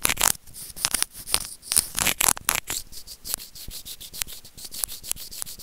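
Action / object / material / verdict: scrape / small plastic earphone remote rubbed with plastic tweezers / plastic / none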